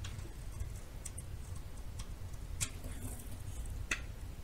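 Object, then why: Solid bar soap cut with a small metal knife. A small, worn metal knife scrapes and carves curls from the face of a hand-sized, solid white bar of soap held in the palm. Short, sharp, bright scraping ticks stand out over a steady low rumble, and each one dies away almost at once.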